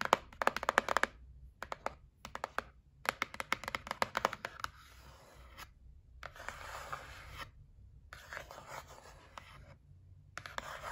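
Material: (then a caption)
Cardboard. Long nails tap and rub across the closed lid of a white printed cardboard gift set box lying flat. Bursts of quick, dry, crisp taps alternate with softer, hissy scratching strokes, separated by short pauses. Each tap dies away almost instantly, and the taps have a papery midrange knock.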